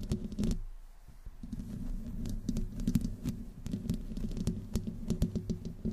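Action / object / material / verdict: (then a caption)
scrape / metal mesh microphone grille / metal mesh / none. Long fingernails slowly scratch the side of the hollow metal mesh grille on a black microphone with no windscreen. The result is a dense, uneven patter of close, dry scratches and ticks, heavy in the low end with a steady low hum underneath and sharp bright clicks on top.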